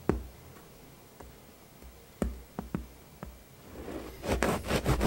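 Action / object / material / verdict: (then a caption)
scrape / ciabatta bread loaf with hard crust / bread crust / none. A serrated bread knife saws lengthwise through a whole floured ciabatta loaf with a hard crust, resting on a round wooden board. Sharp, scattered crust crackles and knocks come first, then a louder stretch of bright, rasping sawing strokes near the end.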